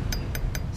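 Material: Steel.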